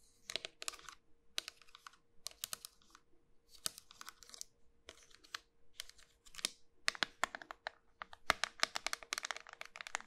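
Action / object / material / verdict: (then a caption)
tap / round soap bar / soap / none. Long white nails tap the flat face of a small, solid, round pink soap bar with a pearl-bead rim as it is held up. The result is quick bursts of crisp, bright, dry clicks and light crackles that stop instantly with no ring, over a faint steady low hum.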